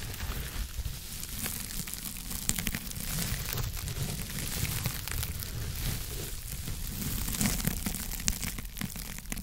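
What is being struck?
Foam scrub sponge.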